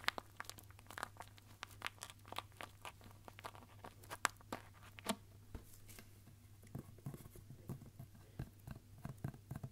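A long roll of red and silver Christmas wrapping paper, wound around a hollow cardboard core and held in both hands, is tapped along its surface with the fingertips. The result is a quiet, irregular series of short, dry papery taps and crinkles with bright edges, over a steady low hum.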